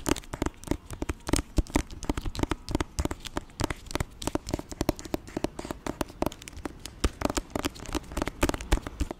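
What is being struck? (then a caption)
Hardcover book with glossy jacket. Fingertips scratch and tap the glossy jacket of a thick hardcover copy of "Auggie & Me" held close to the mic. A rapid, uneven stream of dry, crackly taps and scratches is heard, each dying away almost instantly with a weighty low end.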